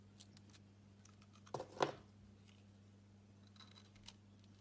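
A utility knife blade slices a solid orange soap block held in the hand into slabs, giving two short, dry scraping cuts close together in the middle of the clip. Quiet soft ticks and a steady low hum fill the rest, with one small click near the end.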